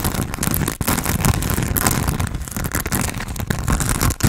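Fingertips and nails scratch and squeeze a hand-sized grey porous foam sponge with a foam handle, held close to the face. The result is a dense, steady, low-heavy crinkling and crackling texture, broken by a few brief dips.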